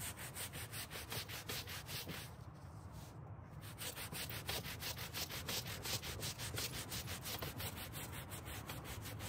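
A gloved hand scrubs a dirty dark grey carpet car floor mat on a white folding table with a green-bristled hand brush. The result is a steady run of quick, rhythmic bristle strokes, about three per second, each a broad, bright rasp over a low carpet rumble. The scrubbing eases briefly a little after two seconds, then continues at full strength to the end.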